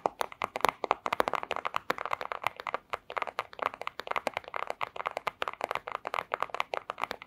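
Long square acrylic nails tap rapidly on a flat, thin, clear plastic pouch. The result is a dense stream of sharp, dry clicks and crinkly taps, centered in the midrange with bright edges and almost no ring.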